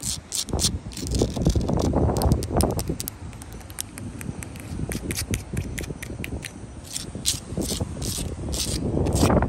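Long light-blue acrylic nails scratch and rub across solid, rough sandstone wall blocks and their mortar seams, making rapid, uneven scraping strokes over the gritty surface. The sound is a low, rumbling rub dotted with bright, crackly grit ticks, swelling louder toward the end.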